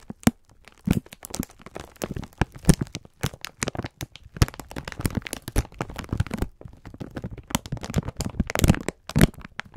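A full pack of sponge scourers in clear plastic film is squeezed with both hands while fingertips rub the wrapper. This produces a dense run of short, sharp crackles and crinkles with low, soft squeezing thuds underneath. The sounds vary in loudness, with brief quieter pauses between bursts.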